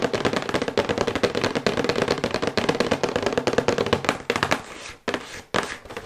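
Long white acrylic nails tap fast on a thin, glossy printed cardboard box for a sonic toothbrush, held upright. A dense stream of crisp, dry clicks with a hollow papery tone dies away almost instantly. Near the end it slows to a few separate taps with short pauses between them.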